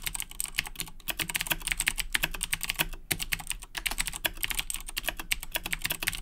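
Both hands type continuously with their fingertips on a black plastic Razer Blackwidow 2010 Edition mechanical keyboard with Cherry MX Blue switches, resting on a desk. A rapid, steady stream of sharp, bright clicky keystrokes is heard, each one dying away almost instantly, with a faint low thump beneath.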